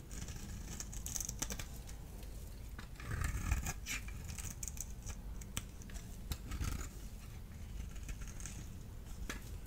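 A solid blue-and-white striped dry soap bar is scored into cubes with a small blade tool and crumbled by the fingers. Quiet, crisp scraping and sharp clicky snaps repeat over a low, steady rumble, with soft crumbly patter as the pieces break apart.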